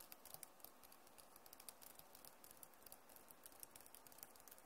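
Both hands type fast on a backlit Acer laptop keyboard with plastic keys, making a quiet, steady stream of short, bright clicks and taps. The keystrokes patter continuously with no pauses, each dying away almost instantly.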